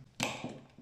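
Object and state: Hard, overbaked pizza crust edge.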